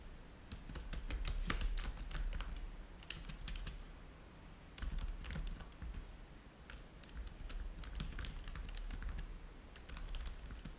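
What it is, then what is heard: Plastic laptop keyboard. Fingertips type steadily on the low-profile keys of a black plastic laptop keyboard. Quick, irregular bright clicks come in bursts with brief pauses, over a low steady hum.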